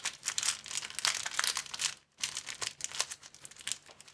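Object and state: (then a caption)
Crinkled plastic film sleeve. An empty, thin clear plastic film sleeve is bent with the fingers, then folded into a small square and crinkled. Dense, bright crinkling and crackling fill the clip, pausing in a brief near-silence around two seconds before the crinkling resumes.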